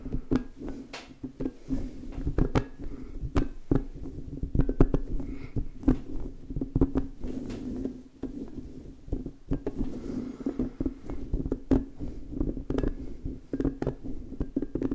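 An orange, soft rubber spiky puffer ball is held in both hands while fingertips rub and squeeze its soft spikes. The result is a dense run of short, muffled, low taps and squishy pats over a steady low hum, with a brief lull just after the eight-second mark before the rubbing picks up again.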